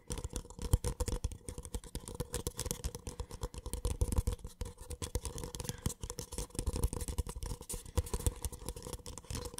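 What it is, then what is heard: Paper cup. An empty white cardboard paper cup, held on its side, is tapped quickly and continuously with fingertips and nails. The result is a dense stream of soft, hollow, low thuds with light clicky ticks. A faint steady tone sits underneath.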